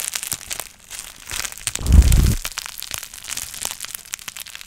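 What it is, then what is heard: Plastic bubble wrap being crushed. A long strip of clear plastic bubble wrap with air-filled bubbles is held up and twisted by hand, the fingers wringing and crushing it so the bubbles pop. Bright, crackly crinkling runs throughout, broken by sharp, irregular pops, with a heavier low crunch swelling near the middle before the scattered popping resumes.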